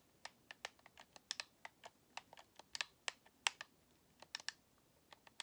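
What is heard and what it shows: Long nails tap the top and thumbsticks of a white, hollow plastic Xbox controller held in both hands. The result is an irregular run of quick, dry, bright clicks that die off instantly over a quiet background.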